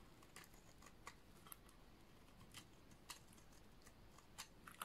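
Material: Soap.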